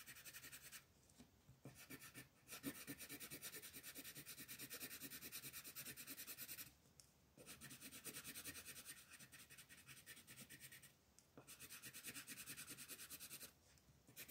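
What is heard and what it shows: A green colored pencil held in the fingers makes quick shading strokes across a flat paper coloring page lying on a table, while the other hand, with long red nails, rests on the sheet. A dense, bright, scratchy rasping runs in long rapid bursts, broken by brief pauses where the pencil lifts from the paper.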